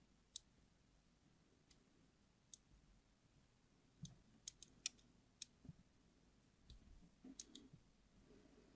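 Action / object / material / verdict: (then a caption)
scrape / glycerin soap bar / glycerin soap / none. A craft knife's blade tip scratches and scores lines into the surface of a solid, palm-sized, yellow translucent hard glycerin soap bar held in one hand. Sharp, bright clicks and ticks pop out irregularly over a quiet background, each dying away almost instantly. A faint, soft scraping runs between them.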